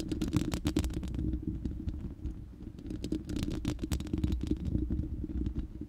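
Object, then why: Steel mesh microphone grille. Long nails scratch across the bare, hollow, round steel mesh grille of a studio microphone. The result is a dense, rapid run of scratchy rasps with a heavy, boomy low end and crisp, bright edges on the strokes. It eases off briefly in the middle before building again.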